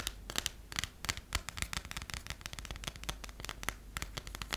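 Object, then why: Passport with a textured cover. A closed passport with a textured cover, held upright with a sticker on it, is tapped and scratched across its cover and edges by long nails. The result is a steady run of quick, dry clicks and bright scratchy strokes that die away almost instantly, over a faint low hum.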